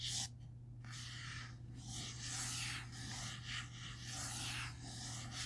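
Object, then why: Cloth-covered hardcover book board. Fingertips trace and scratch across the cloth/paper-covered board front cover of a large, closed black hardcover comic omnibus, The Eternals Omnibus, standing upright on a wooden table. Soft, bright, papery scratching and rubbing sweeps in waves over a steady low hum.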